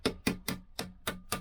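A steel clutch and drive sprocket assembly on a 1964 Lambretta Li125 is tapped six times with a hammer while being fitted, to check that it has settled. Each tap is a short, bright metallic knock with a brief ringing tone and a springy bounce. The assembly sounds properly seated.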